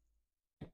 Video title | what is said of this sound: JOISCOPE Home Office Computer Desk - Quick Review (Amazon Desk!) | this table you can hear is sturdy wood heavy pieces of wood